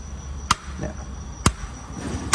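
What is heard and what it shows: Three sharp, separate knocks are made on new steel intake valves, freshly fitted with a three-angle seat cut in a race-engine cylinder head, to demonstrate how they sound. Each knock is a brief, dry metallic tap with a ringing tone around 1.2 kHz that dies away almost instantly over a low background hum. The valves sound well seated and normal.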